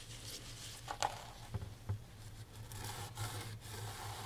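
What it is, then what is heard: Framed canvas painting wiped with a cloth. A gloved hand wipes the corner of a canvas oil painting and its wooden frame with a microfiber rag while the framed painting lies on a table. Soft, breathy rubbing and scraping continue over a steady low hum, with three brief louder swipes standing out in the first two seconds.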